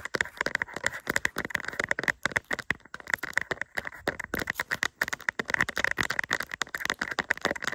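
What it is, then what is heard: Resin rhinestone sticker, tapped and scratched. A small, flat, doll-shaped diamond-painting sticker covered in resin rhinestones on a thin, solid plastic backing is held in both hands and scratched and tapped with long acrylic nails. The result is a rapid, irregular stream of dry, crackly clicks and scratches with a bright tone centered near 1.8 kHz and almost no low end, each tap dying away instantly.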